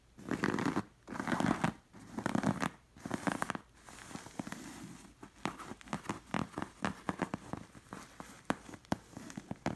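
Long nails trace and scratch the stitched camel appliqués on a soft cushion with a linen cover. Long, rasping scratch strokes with a soft, papery texture come first, then give way to quicker, irregular short scratches and light taps. The sound sits mostly in the low-mid range and stays dry and close.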